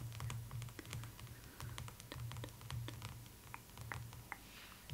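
Long acrylic nails tap and drum on the glossy paper front cover of a large, closed hardcover art book, "The Art of Spirited Away," lying flat on a cloth table. A rapid, uneven patter of sharp, bright clicks runs throughout over a steady low hum.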